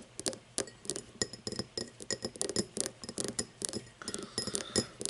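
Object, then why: Cut glass tumbler. Long nails tap and scratch the facets and base of an empty, hollow cut-crystal tumbler lying on its side. Quick, bright glassy clicks and clinks follow one another with very short rings, mixed with brief scratchy rasps across the cut surface.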